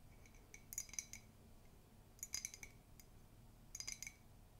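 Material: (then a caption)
Ceramic. Long pink nails tap and scratch the outside of a hollow, empty white ceramic mug with a black-and-white Mickey comic print, held in both hands. Three bursts of bright, high-pitched clicks and clinks ring very briefly against a quiet background hiss.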